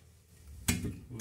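A loose ceramic toilet bowl is rocked on the floor, giving two short, dull knocks with a low thump. It wobbles because its bolts have loosened over time and there is no grout around the base.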